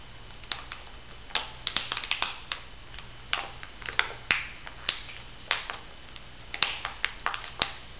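Fingertips and nails scratch, tap and crinkle the surface of a flat laminated foil-plastic sheet mask pouch with a pear print, held in both hands. The result is a scattered series of sharp, bright crackles and ticks with very short decay, some in quick clusters. A faint, steady low hum sits underneath.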